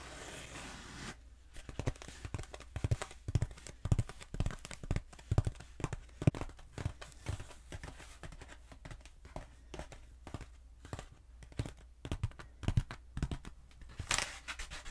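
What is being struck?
Foam pool noodle.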